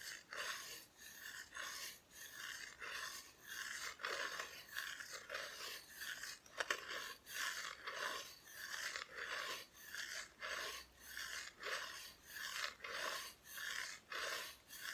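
Long nails slowly scratch the raw wood back of a flat, thin, solid plywood Christmas decoration cut-out. The result is a steady series of dry, rasping strokes with a bright, hissy texture and a scratchy tone centred around 1.8 kHz, each stroke fading quickly before the next.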